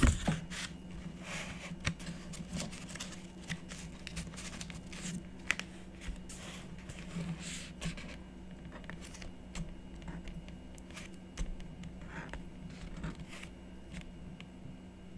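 A stylus scratches the coated surface of a scratch art board, coated paper on cardboard, in short strokes. Many brief, crisp scratching bursts sit over a low steady hum.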